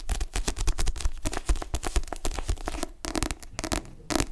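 Fingertips and nails tap and grip the back cover of a dark paperback book with a glossy cardstock cover, held in both hands. A rapid, uneven run of soft, dull taps with a low thump is mixed with crisp, crackling scratches from the nails sliding on the cover. Each tap dies away almost instantly.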